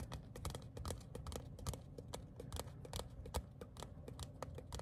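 A small, thin printed paper ticket card of cardstock, held as a solid flat sheet in both hands, is tapped and scratched with fingertips and short nails. This produces a rapid, irregular stream of quiet, dry clicks with bright crisp edges over a soft low rumble. Each tap dies away almost instantly.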